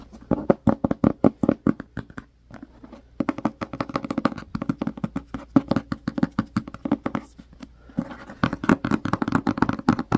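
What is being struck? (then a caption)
Cloth-covered hardcover book. Both hands tap and scratch the front cover of a medium-size, solid, black cloth-covered hardcover book with fingertips and short nails. Quick, dry, muffled taps with a warm midrange body and almost no ring come in rapid bursts. Brief pauses near 2.5 and 8 seconds carry softer scratching before the tapping resumes.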